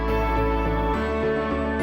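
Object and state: Nothing is struck.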